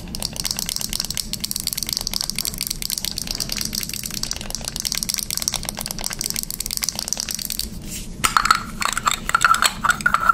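Long nails tap rapidly on the clear cap and body of a hollow, light blue plastic pump bottle held close up, making a dense, bright stream of fast clicks. After a brief lull near the end, the taps become louder and sharper, with a short hollow ringing tone around 1.3 kHz.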